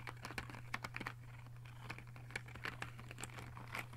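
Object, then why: Plastic pen barrels in a clear plastic case. Fingertips of both hands rapidly tap the barrels of 20 plastic fineliner pens sitting in a clear plastic case, producing a dense run of short, dry, typing-like clicks with bright, crisp tops. A steady low hum sits underneath throughout.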